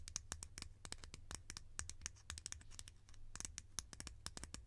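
Long nails rapidly tap and scratch a hollow, bright green plastic lid, making a quick run of about 29 sharp, bright clicks with scratchy scraping between them. Each tap dies away almost instantly over a steady low hum.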